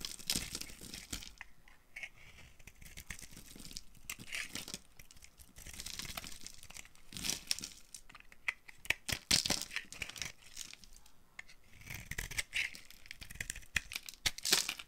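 A hand-sized solid green marbled bar of dry soap, held in one hand with long pink nails, is shaved and carved with a small green-handled knife, and curls and flakes fall off the surface. Dense, bright, crisp scraping and crunching comes in bursts of tearing, crinkly cuts. The sound is dry and close, with little low end.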